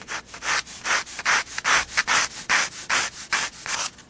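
A 4B pencil shades a spiral-bound sketchbook page of drawing paper resting on a wooden table, rubbing back and forth across the paper. About 14 quick, steady strokes sound as dry, bright, scratchy hisses with almost no low end, each cutting off sharply between passes.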